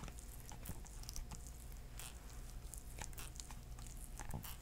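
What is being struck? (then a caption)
Hardcover book with cardboard cover. Fingertips tap on the purple floral cardboard cover of a hardcover book, making a steady run of soft, dull, muffled taps over a low background rumble. The taps are quick and close together, with brief crisp clicks and almost no ring after each one.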